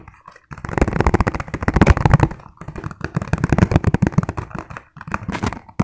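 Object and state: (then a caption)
Plastic food container, tapped and scratched. Fingertips tap and scratch rapidly across the ridges of a transparent, ribbed, hollow, empty plastic food container held sideways. The result is a dense run of quick, dull knocks with a low body and scratchy edges, arriving in bursts separated by short pauses.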